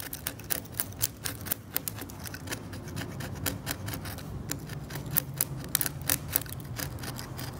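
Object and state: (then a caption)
Varnished oil painting scraped with a blade. A scalpel blade scrapes the varnish of a cracked, varnished oil painting on canvas in quick, short strokes. Each stroke makes a dry, bright scratch that cuts off instantly, over a steady low rumble.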